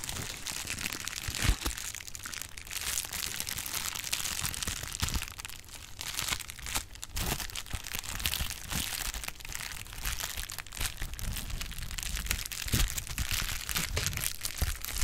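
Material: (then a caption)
Plastic. Clear plastic bubble wrap is squeezed, popped and crinkled with fingers. It makes a steady run of dense crinkling and crackling, with sharp, bright pops standing out now and then over a low, soft rumble. The sound goes on without a break for the whole clip.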